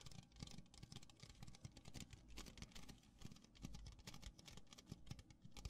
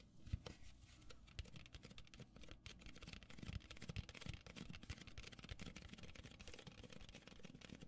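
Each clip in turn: First: plastic party cup. Second: styrofoam cup.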